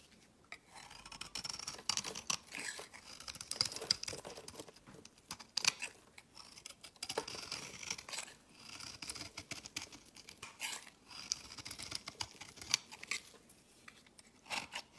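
A solid beige rectangular bar of soap with an embossed logo, held in the hand, is shaved with a utility-knife blade. It makes quiet, dry, crisp scraping strokes with a bright, hissy texture and almost no low end, as thin curls are pared away one after another.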